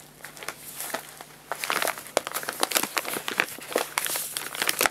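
An empty, hollow printed paper guinea pig food bag is rolled, rubbed and crinkled with fingertips and palms. Dry, bright crinkling and sharp crackles start soft and sparse, then turn dense and louder after about a second and a half, with quick snaps that stop almost at once.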